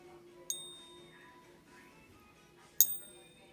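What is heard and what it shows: A 1988 Australian 1 oz Gold Nugget gold coin is gently tapped twice in a ping test, and each tap gives a clear, high ringing ping. The coin passes as real gold, backed by density and ultrasound tests and a neodymium magnet that does not attract it, though it is uncertain whether the Perth Mint actually minted it.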